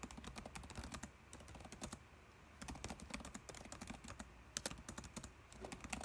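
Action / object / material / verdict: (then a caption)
tap / plastic laptop keyboard / plastic / none. Fingertips type fast on a dark laptop keyboard with plastic keys, producing rapid bright clicks over soft low thuds. The typing comes in quick bursts, eases into lighter tapping for about a second near the start, then picks up again until the end.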